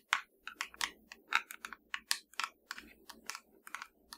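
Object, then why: Plastic TV remote control. A small, hollow black plastic TV remote control with blue and purple rubber buttons is held in one hand and tapped and scratched with the long nails of the other hand. About 18 quick, bright, clicky taps ring briefly, with a faint scratchy rustle between them.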